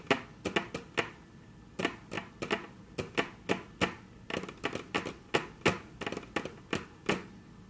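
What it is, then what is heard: Wooden tabletop tapped with fingernails. Very long natural nails tap on a flat, solid, dark brown wood-grain tabletop, making a rapid, uneven series of short, sharp clicks. Each tap is crisp and bright with a slight hollow woody body and dies away almost instantly, with brief pauses between bursts.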